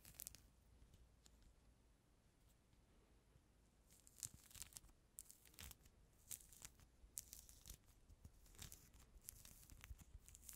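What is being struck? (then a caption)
Peeled mandarin orange with pith and membrane. A small, whole mandarin orange with its outer peel already removed is held close to the microphone while fingertips and nails pick and scratch the white pith and membrane off its surface. Quiet, bright, crackly tearing and scratching sounds come in irregular bursts over a faint low background hum, growing busier after the first few seconds.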